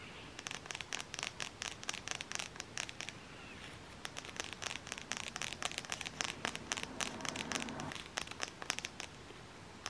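Long fingernails tap rapidly on the edge of a closed, flat black cardboard eyeshadow palette held edge-on. The result is a dense run of sharp, bright, dry clicks that die away almost instantly, with little low-end body.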